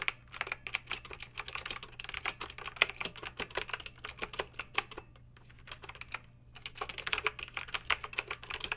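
Long acrylic nails type on a backlit plastic mechanical keyboard with round plastic keycaps, producing rapid, bright clicky clacks. A brief pause interrupts the typing before the fast tapping resumes, over a faint low steady hum.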